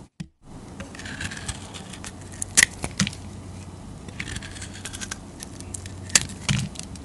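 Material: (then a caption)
Soap. A metal utility-knife blade scrapes across the face of a solid yellow square bar of soap held on the palm, shaving off thin curls. Steady, bright, dry scraping fills the clip, with a few sharper, louder cuts standing out near the middle and toward the end.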